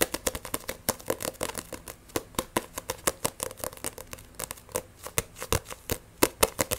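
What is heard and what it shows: Fingernails rapidly scratch and tap on the glossy cover of a solid Blue Exorcist paperback manga book. Some 37 quick, dry clicks and scrapes with bright, crisp edges come in an uneven, fast stream over a soft, rustling background. Each tap dies away almost instantly.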